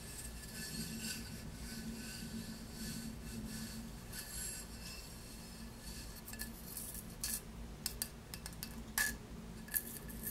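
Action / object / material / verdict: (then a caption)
scrape / glazed ceramic tile scratched and tapped with fingernails / glazed ceramic / none. Long nails scratch across a solid, hand-sized square glazed ceramic souvenir tile of Positano, turned over to show its unglazed back, making a steady, soft rasping rub with a low background hum. In the second half, sharp, bright tapping clicks cut in with almost no ring.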